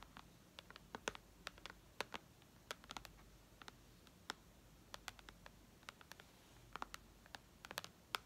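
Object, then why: Tablet glass touchscreen. Long red nails tap on the glass touchscreen of a white iPad lying flat. Many quick, sharp, bright clicks sound in an irregular patter over a quiet background, each dying away almost instantly.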